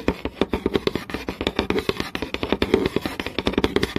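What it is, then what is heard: Wooden board. Long nails tap quickly and scratch across a flat, solid wooden board with visible grain. A rapid run of short, dry knocks, each dying away almost at once, carries a hollow woody tone around 390 Hz, with brief scratchy rasps between the taps.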